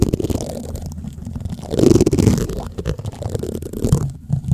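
White plastic spoons scratch across the black metal mesh grille of a large condenser microphone, producing a close, muffled rumbling scrape that is mostly deep low-end with little brightness. The scraping runs continuously with uneven swells, growing loudest near the middle before settling back down.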